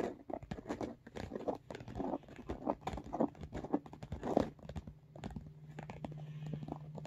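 Short nails and fingertips tap and scratch along the top edge of a large, hollow pink makeup bag with an embossed, textured faux leather or fabric surface. The result is a rapid, uneven run of soft crinkly taps and scrapes with brief crunchy peaks. A low steady hum sits underneath and grows more noticeable toward the end.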